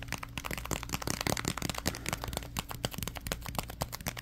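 A crumpled ball of thin orange plastic bag is squeezed and crinkled with the fingers. Dense, sharp crackles and crinkles run continuously across the whole clip, bright and short, with no ring after each one. A steady low hum sits underneath throughout.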